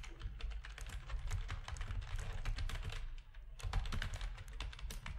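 Fingertips of both hands type rapid key presses on a full-size black plastic RGB backlit gaming keyboard with a hollow housing. The result is a dense, steady stream of short, dry clacks, each with a deep hollow thump underneath and a faint bright tick on top. There is a brief pause just past the three-second mark before the typing picks back up.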